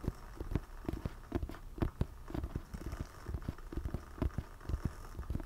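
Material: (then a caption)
Cardboard. Fingertips tap and scratch the glossy back cover of a solid, medium hardcover book. The taps are dull, low thuds that die away almost instantly, coming in an irregular, fairly quick rhythm over a faint rustling scratch.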